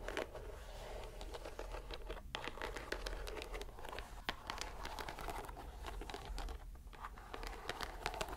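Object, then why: Soft rubber stress ball in a string net. A fist-sized soft green rubber mesh stress ball in a white string net, held over a dark table, is squeezed repeatedly by fingers and palm. It makes a steady stream of quiet, rapid crinkling and crackling clicks with bright, sharp edges over a low rumble.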